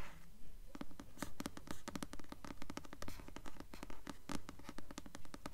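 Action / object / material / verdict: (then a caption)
scrape / paperback book with glossy paper cover / paper / none. Long nails scratch across the glossy paper cover of the blue paperback novel "Delirium," held upright and solid. A quick, fairly steady run of short, dry, bright scratching strokes repeats rapidly, each stopping almost at once with no ring.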